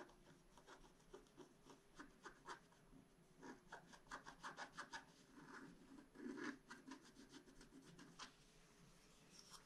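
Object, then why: Black-coated scratch-art card scratched with a wooden stylus. A wooden stylus scratches across a flat black-coated scratch-art card in a series of short, quiet, dry rasping strokes. The strokes come in uneven bursts with bright, papery texture and a faint low hum underneath.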